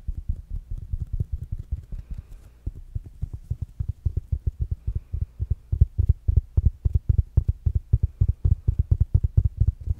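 Fingertips and nails tap rapidly on a small, rounded black smart speaker with a fabric mesh cover. The result is a quick, uneven stream of about 57 soft, dull, low thumps with almost no ring.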